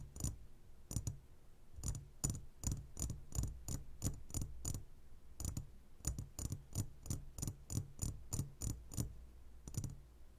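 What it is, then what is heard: Glass candy jar. Fingertips and short nails on both hands tap the sides of a clear, roughly hand-sized glass jar full of sugar-coated gummy candies. Around 28 quick, unevenly spaced taps each give a bright nail click over a dull, low, muffled knock. Each tap dies away almost at once with little ring.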